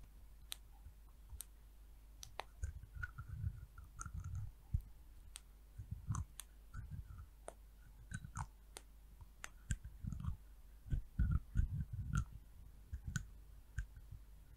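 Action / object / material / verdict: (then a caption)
tap / small glass oil vial with plastic cap / plastic / none. Long nails tap and click on the orange plastic cap of a small amber glass hair oil vial. Quiet, irregular bursts of sharp, bright clicks die away almost instantly over soft, low, dull thumps, coming in uneven clusters throughout.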